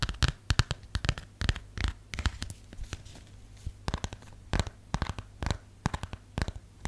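A plastic phone case is tapped and scratched with fingernails on its textured back. Many quick, dry clicks and short scratchy strokes come in irregular bursts over a low steady hum, each sound dying away almost at once.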